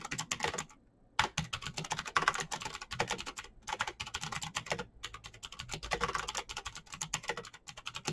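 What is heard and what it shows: Both hands type rapidly with their fingertips on a black plastic mechanical keyboard with clicky green switches and backlit keycaps. A dense stream of sharp, bright clicks is broken by brief pauses, with each keystroke dying away almost instantly.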